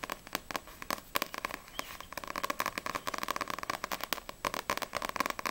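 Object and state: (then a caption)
Paperback manga book tapped with nails. Long nails tap rapidly on the glossy card cover of a yellow Assassination Classroom paperback manga book, first on the front cover and then on the back. The result is a quick, uneven stream of crisp, bright clicks with a faint hollow tone around 1.1 kHz and almost no low end, each tap dying away almost instantly.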